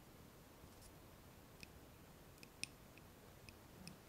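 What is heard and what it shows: A small lit glass candle jar filled with solid wax is held in the hands and tapped on its glass wall and rim with long nails. Six sharp, bright glassy ticks with a faint high ring sound apart over a quiet, steady low hiss.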